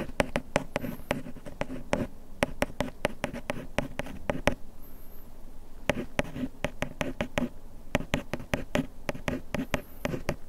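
A bamboo ear pick scratches along the printed lettering on the front of a small printed paperboard bandage box held in hand. Quick, dry clicks and scrapes come in rapid bursts with short pauses, each tick sharp and brief over a soft, papery rustle. The sound is quiet and close, with most of its body in the low and middle range.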